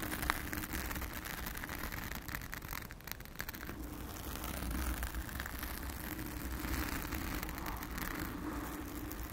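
Long acrylic nails of both hands scratch the blue foam cover on a round studio microphone. The result is a steady, dense scratching and crackling with a heavy low rumble, staying close and even throughout.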